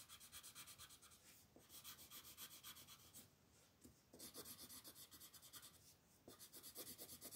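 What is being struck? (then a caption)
Colored pencil on a paper coloring page. A colored pencil tip scratches and rubs across a flat paper coloring book page to shade the background, while the other hand holds the page flat. Quick, steady back-and-forth strokes make a bright, dry, scratchy rasp. They come in three runs separated by brief quieter pauses.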